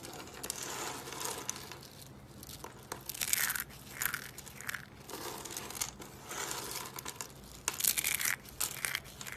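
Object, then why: Soap curls crushed by hand. Small colored dry soap curls are squeezed and crushed in the hand into brittle pieces. The result is dense, bright crunching and crackling that comes in uneven bursts, with sharp brittle snaps and little low end.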